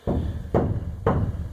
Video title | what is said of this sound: Lizardskin comparison 0, 1,2,3,4 coats | you hear the dull thud